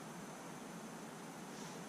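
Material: Nothing is struck.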